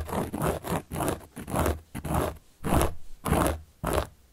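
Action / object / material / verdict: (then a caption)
scrape / solid cork board / cork / none. A carving tool scratches across the surface of a large, round, solid cork board in a series of repeated strokes. Each stroke is a rough, rasping scrape with a low, scuffing body and a faint bright hiss on top. Short pauses separate the strokes, which keep a loosely steady rhythm.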